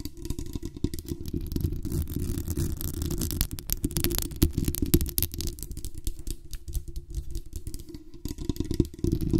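Long acrylic nails scratch the hollow metal mesh grille of a black condenser microphone with a metal body and tap its lower body. The result is a dense, close, low-heavy rustling and scraping full of rapid small clicks, with a booming low rumble and little high content. The level stays fairly steady for the whole stretch.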